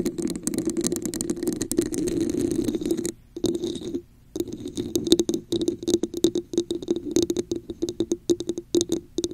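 Long nails tap and scratch the sides and top of a red, hollow, textured plastic cup placed over a microphone. For about three seconds a dense, continuous scratching rustles against a hollow resonance around 340 Hz with a bright, high edge. After two brief silences it gives way to quick, irregular tapping that keeps that same hollow, plasticky ring.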